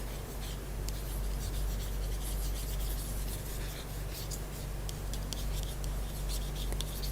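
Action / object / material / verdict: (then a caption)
scrape / hardback book cover / cloth-bound board / none. Fingers scratch and rub across the cover of a hardback book, "Arab Women Writers," bought at a bookstore. A continuous soft, dry rubbing and scratching texture is heard, with brief brighter scrapes over a steady low hum.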